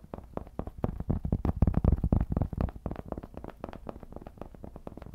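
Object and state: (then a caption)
Cork trivet. Fingertips quickly scratch and tap the face of a round, flat, solid cork trivet held in both hands. The result is a rapid, loosely paced stream of soft, dull, low thuds, about four per second, each dying away almost at once with no ring. The tapping swells louder in the middle and then settles back down.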